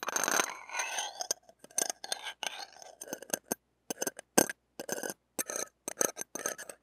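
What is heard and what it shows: The shaft and tip of a stainless steel ear pick are scraped across the wire mesh of a small, hollow metal-mesh mini microphone head. The result is close, bright, scratchy rasping with brief metallic glints, starting in a dense rush and then breaking into short, uneven bursts separated by moments of silence.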